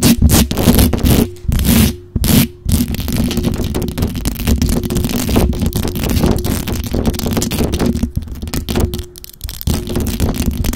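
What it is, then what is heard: Metal mesh microphone grille. Long acrylic nails rapidly scratch and tap the hollow metal mesh grille of a black microphone. The result is a dense, continuous stream of rough scratches, crackles and quick taps, heavy in the low end, with a faint steady low tone running underneath and brief quieter gaps.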